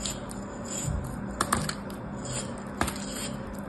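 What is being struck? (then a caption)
Molded kinetic sand block cut with a metal blade. A small solid molded block of kinetic sand, held in the fingers, is sliced and scraped with a metal craft knife blade and crumbles as it is cut. Soft, gritty scraping and crumbling runs throughout, broken by a few sharp, bright clicks of the blade.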